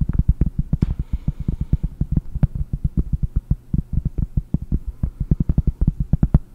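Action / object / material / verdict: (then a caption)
tap / pressed-cork board / cork / none. Fingernails tap rapidly on a round, solid pressed-cork board held in both hands in front of the microphone. Some 49 quick, dull, low thumps follow one another, each dying almost instantly, with nearly all the energy deep in the bass and only a faint brighter rustle early on.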